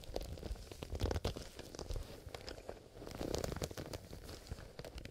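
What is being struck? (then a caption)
Leather zipper pencil case. Fingertips in fingerless gloves scratch and tap the leather surface of a soft, hollow black leather zipper pencil case held upright in both hands. The result is a dense stream of short, dry scratches and taps over a low, muffled body.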